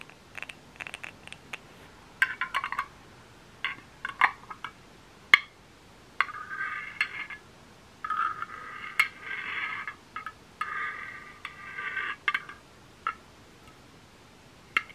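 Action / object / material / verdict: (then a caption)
tap / candle lid / unknown / none. A candle lid is tapped close up, giving light, bright clinks with very short ring, concentrated around 1–3 kHz. Scattered single taps alternate with longer stretches of rapid tapping or scratching across the lid's surface, with quiet gaps between.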